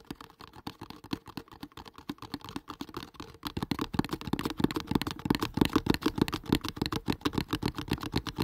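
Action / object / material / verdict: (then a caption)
tap / cardboard box / cardboard / none. A hollow kraft cardboard product box, held in front of the mic, is tapped fast with fingertips and nails. A rapid, uneven stream of short, dry taps with a hollow low body and clicky nail edges grows louder and denser about halfway through, each tap dying away almost instantly.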